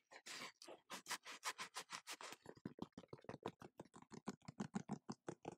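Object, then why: Knit mesh fabric sneaker upper. A dark grey knit mesh fabric sneaker with pink laces, held up in one hand, is scratched and tapped on its upper with long gold-painted fingernails. About thirty quick, quiet bursts follow one another at an uneven pace: broad, hissy scratches at first, then shorter, duller taps with a soft low thud.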